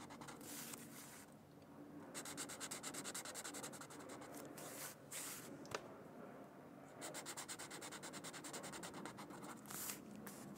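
A Crayola felt-tip marker rubs back and forth over the center of a thin white paper mandala coloring sheet lying on a book. It makes quick, bright, scratchy strokes in bursts separated by short pauses, with a soft papery hiss underneath.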